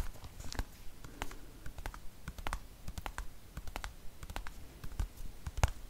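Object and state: Plastic cosmetic tube.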